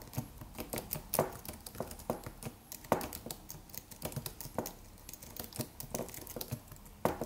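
Fingertips of both hands tap the white plastic keys of a slim, silver aluminum computer keyboard with a solid, low-profile body in a typing motion. The result is a steady, irregular stream of soft, quick clicks, with a few sharper, louder key taps standing out.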